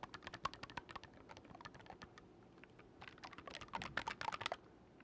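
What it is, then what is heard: Oboe keys clicking. Fingertips rapidly click the silver metal keys of an oboe with a dark wooden body, held upright and then horizontally. The result is a quick, dense run of dry, sharp clicks with bright edges and almost no ring, bunched into several bursts with a louder flurry near the end.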